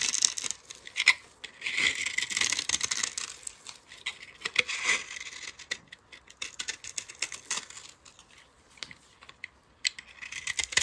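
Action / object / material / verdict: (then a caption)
scrape / bar of soap scraped with a metal blade / soap / none. A palm-sized solid yellow bar of soap with a dark glitter rim is held in the hand, steadied by a long-nailed hand, while a metal utility-knife blade scrapes and carves it. Dry, bright, crackling scrapes and shaving sounds come in uneven bursts, with almost no low end and no ringing after each stroke.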